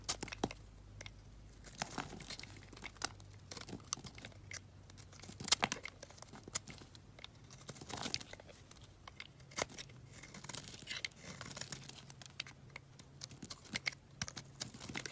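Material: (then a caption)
Soap. A solid peach-pink soap bar held in the palm is scraped and sliced with a box-cutter blade, curling off shavings. Quiet, bright crisp scratches and crackly tearing sounds come in a dense, irregular stream of short strokes, over a faint low hum.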